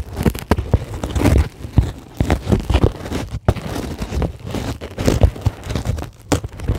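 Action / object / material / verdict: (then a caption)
scrape / closed-cell polyethylene foam sheet / plastic foam / none. Long glittery acrylic nails scratch across a flat, solid, white closed-cell polyethylene foam sheet. The result is a dense run of quick, crackly, squeaky scrapes in uneven bursts, each with a soft low thump beneath a brief bright edge and almost no ring.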